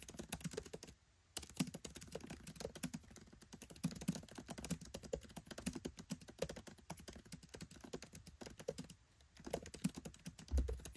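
Fingertips type rapidly on a MacBook Pro 13 keyboard with black plastic keycaps set in an aluminium body, producing dense, short, dry clicks and soft low taps. The typing runs steadily, with brief pauses near the start and toward the end, and closes with a heavier low thump.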